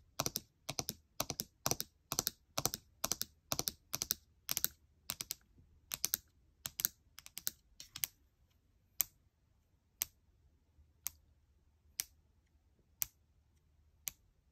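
A fingernail taps and clicks individual plastic keys on the keyboard of a gold MacBook Air, near its palm rest. For about the first eight seconds, quick clusters of sharp, bright clicks come in an uneven rhythm. The pace then slows to single crisp taps about once a second, each dying away almost instantly with little low end.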